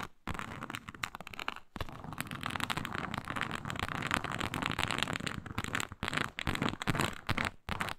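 Long nails scratch firmly across a flat, iridescent faux snakeskin leather mat with an embossed reptile pattern. The result is a dense, uneven crackling rasp with bright, sharp grit, broken by brief silent gaps.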